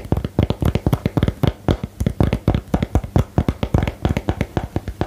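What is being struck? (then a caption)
Small cardboard box. A small, hollow, rectangular cardboard box for the "Geheimakte" card game is held up and tapped with long nails. About 34 quick, dull taps land in a steady, rapid rhythm, each a short, low, hollow knock that dies away almost at once.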